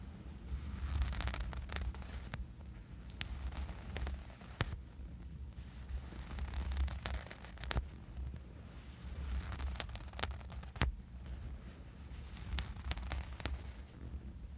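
Fingernails of both hands scratch a small, dark, soft fabric sleeping eye mask resting on a bed. The result is steady waves of rustling, scraping texture over a deep low rumble, with scattered sharp little clicks and ticks throughout.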